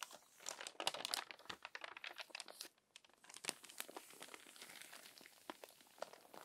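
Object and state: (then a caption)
Crumpled paper magazine pages. Fingertips and long nails rub the wrinkled pages of an open, crumpled paper magazine and turn a page. Dense, bright crinkling and crackling fills the clip, dipping briefly near the three-second mark. It then continues with sharp rustling snaps and no low end.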